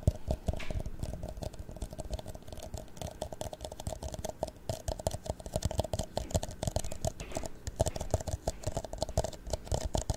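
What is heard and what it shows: An empty, hollow clear plastic drinking cup is held sideways, then upright, and tapped with fingertips and nails along its side and rim. The result is a continuous stream of rapid, soft, dry taps and clicks with a faint hollow tone, each tap dying away almost instantly.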